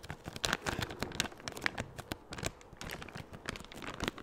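A large, empty, thin clear plastic bag is crinkled and stretched between the fingers. Dense, crackling crinkles and sharp rustling snaps come in quick, irregular bursts across a broad bright range, fading between handfuls.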